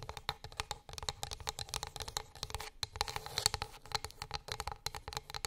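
Long acrylic nails tap quickly across a flat, solid, light wooden board, making a steady flurry of short, dry, bright clicks. Each tap dies away almost instantly, with a soft low knock beneath the sharp high click.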